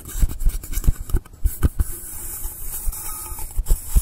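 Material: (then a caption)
Polystyrene foam. Fingertips and nails scratch and rub along the top edge and side of a long, solid blue polystyrene foam block. The result is a run of soft, close, low-heavy scratching bursts with dull thuds, separated by a faint steady hiss, each stroke fading almost at once.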